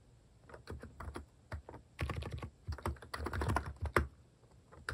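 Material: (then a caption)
Plastic. Fingertips type across a compact plastic mechanical keyboard with pink and cream cat keycaps. The keystrokes come as short, soft, low-weighted clicks and thocks, sometimes singly and sometimes in quick bursts with brief pauses between. Each one dies away almost at once.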